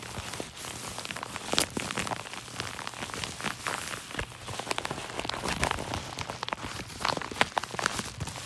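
Fingertips rub and scratch across a yellow kraft-paper padded mailer envelope resting on a lap, working over the crinkled paper. The result is a steady, soft bed of dry crackling and scratching, bright and broadband, with occasional sharper, louder crinkles standing out.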